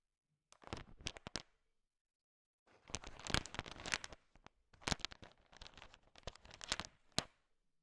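A bowl heaped with small, hard, sugar-shelled peanut M&Ms is stirred and tapped with a thin wooden stick, mixing the candies. Bursts of sharp, bright clicks and rattling crunches come in clusters, with a pause of about a second between the first and second burst.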